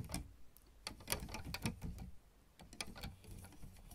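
Both hands tap and click on the solid black and white plastic keys of a piano or electronic keyboard, using long red almond-shaped nails and fingertips. The result is a run of short, dry clicks and taps with bright, high edges over a low, soft thump, each dying away almost at once, with a brief quieter gap midway.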